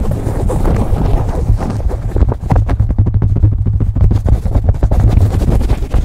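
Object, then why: Cotton baseball cap. Fingernails scratch a beige cotton baseball cap placed over a microphone. The result is a fast, continuous, deep rustling rumble, with rapid scratchy strokes that grow sharper and more distinct after the first two seconds.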